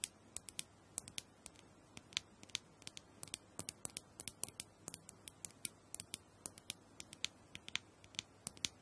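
A small, round, hollow plastic massager with a clear dome top is held in one hand while long acrylic nails tap and scratch across the dome. About forty quick, bright, dry clicks and ticks land in an irregular patter with almost no ring. Between them, faint scratching fills a quiet, close sound.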